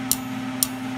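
Two light taps on a welded, chipped steel gear with a hardfaced surface, made after it was heated without overheating. Each tap gives a short, bright, high-pitched tick over a steady low hum. The sharp ring shows the surface is still hardfaced and the hard face was not damaged.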